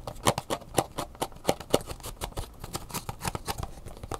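Long natural fingernails quickly tap and scratch a hollow, lightweight clear plastic clamshell blister pack with a cardboard backing card and an Angry Birds USB flash drive inside, while it is turned in the hands. A rapid, irregular run of sharp, dry clicks with short scratchy scrapes follows, each hit dying away almost at once.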